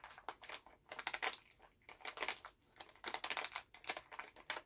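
A full Halls plastic cough drop pouch is held in both hands while fingertips crinkle and tap the bag. Bursts of bright, dry crinkling come in quick clusters separated by brief pauses. The sound is quiet, with no low rumble and almost no ring after each touch.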